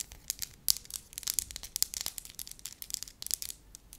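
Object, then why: Flat wax disc. Long lilac nails tap and scratch the surface of a soft wax sheet, a flat, solid, pale-yellow wax disc about palm-sized, while holding it. The result is a quiet run of crisp, bright, irregular clicks and scratchy crinkling bursts with almost no low end.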